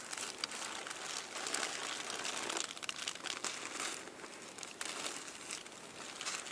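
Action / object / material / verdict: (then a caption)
scrape / thin tissue paper sheets / paper / none. Fingertips with long nails grip the folded edge of a layered stack of thin purple tissue paper, crinkling and scratching it. A continuous bright, dry crackle of crumpling paper rises and falls with no low-end weight, punctuated by sharper crisp snaps.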